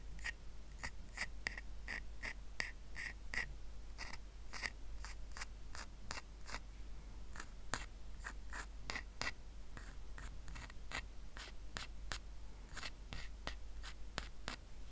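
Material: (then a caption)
Rattan. Short nails scratch along the woven strands of a small, round, flat woven rattan coaster resting on a blanket. The result is a quiet series of quick, dry scratching strokes with a bright, rasping edge. They repeat steadily over a constant low hum.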